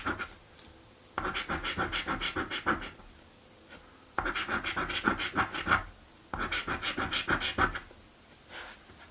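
A coin scratches a thin, flat blue cardboard paper scratch-off lottery ticket, a birthday scratchie. Three bursts of quick, rasping strokes are separated by quiet pauses, each a fast, uneven run of dry scrapes with a bright papery hiss.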